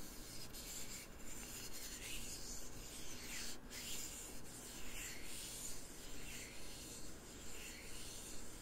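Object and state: Wooden lid being scratched.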